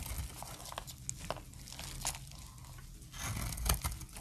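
A utility blade cuts crunchy flakes off a stamped, solid, light brown dry soap bar. Dry, crackly crunches and scraping snaps come in short bright bursts over a low, soft rumble. The flakes break away with a crisp crumbling texture that grows louder toward the end.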